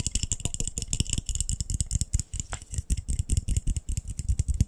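A glass light bulb is tapped very quickly and continuously, making a dense, rattling stream of short, dry clicks. Each tap has a low thump with a bright, glassy tick on top and almost no ring.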